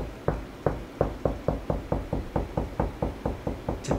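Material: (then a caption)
Drywall. A hand knocks repeatedly with the knuckles on flat, light-painted interior drywall between a light switch and an outlet, searching for a stud. Sixteen short, dull, hollow-sounding knocks land at a steady pace, each dying away quickly, showing the wall is hollow behind that spot.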